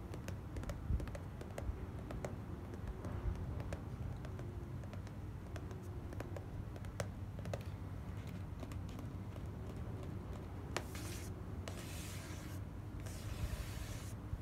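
Long black-painted nails tap and click across the lid of a small, closed, hollow white printed cardboard gift box lying on a dark cloth. The result is a quiet, steady patter of short, dry clicks over a low, muffled background. Near the end come a few brief, brighter scratchy bursts.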